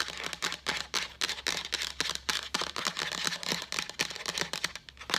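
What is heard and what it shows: A hollow, apparently empty translucent white plastic pitcher with a pink lid is tapped with long acrylic nails near the rim and side, close to the camera. The result is a rapid, irregular stream of sharp, bright clicking taps with very little ring and almost no low end.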